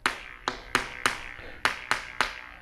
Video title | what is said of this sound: RedDirt671- WEEK 16 Outside Kitchen & Back Patio Roof Build | see that's a solid sound